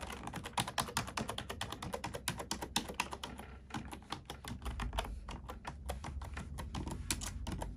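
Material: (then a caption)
Plastic. A black plastic computer keyboard is typed on rapidly with the fingertips and long nails of both hands. The result is a dense run of sharp, bright clicks and clacks with short decays over a steady low rumble.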